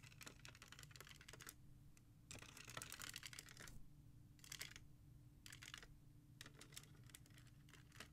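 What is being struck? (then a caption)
Hard plastic CD jewel cases in a rack. Long painted nails tap and scratch fast along the spines of a row of about 15 hard plastic CD jewel cases standing in a black holder. Dense bursts of quick, bright plastic clicks and scraping alternate with short pauses, over a steady low hum.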